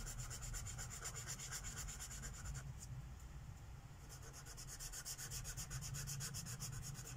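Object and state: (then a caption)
Marker scribbling on a paper page. A purple Sharpie marker tip is rubbed rapidly back and forth across a flat paper page of a mandala coloring book lying on a wooden table, coloring in petals. A steady run of quick, scratchy strokes, about four per second, carries a bright papery hiss over a soft low rumble. The strokes ease briefly midway before resuming at the same pace.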